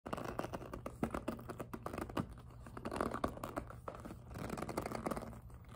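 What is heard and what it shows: Long acrylic nails tap, grip and scratch the smooth surface of a small, hollow, empty-looking pink glossy jelly PVC handbag with flower appliqués. The result is a dense run of quick, dull clicks and taps mixed with rubbery scraping and crinkly friction, with a soft low rumble underneath and little high-end brightness.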